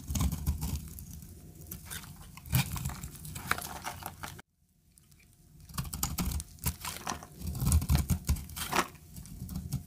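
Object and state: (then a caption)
Dry bar soap being cut and scraped. A segmented utility knife blade cuts and scrapes flakes off the edge of a solid tan bar of dry soap held in the hand. A dense run of crisp, crackling scrapes and small snaps sits over low, dull rubbing, with a short full silence near the middle before the shaving picks up again.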